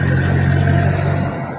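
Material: Nothing is struck.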